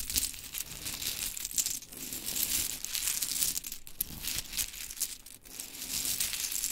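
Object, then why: Small painted wooden mini clothespins. Long chrome nails scratch and rake a pile of small pink-painted wooden mini clothespins on glitter fabric as hands gather them up. The result is a steady, bright clicking and rustling clatter with many tiny quick taps and almost no low end.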